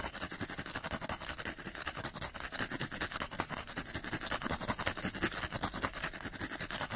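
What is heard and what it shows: Fingernails scratch fast across the side of a small, hollow, printed cardboard light bulb package. The result is a dense, steady stream of quick, dry, raspy strokes with a bright papery hiss and a faint hollow thump underneath. Each stroke dies away almost at once.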